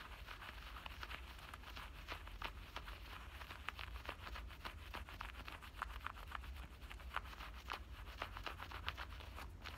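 Fingernails rapidly scratch and rub the front pocket edge and stitched seam lining of worn black denim jean shorts. The result is a quiet, dense run of crisp, papery rasps and short scratchy bursts over a steady low hum.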